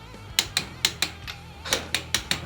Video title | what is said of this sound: Ford 8.8 Axle Swap, boomerang shackles and skid plate - Budget YJ Build Part 2 | that clicky click that's backlash that's between the ring gear and the pinion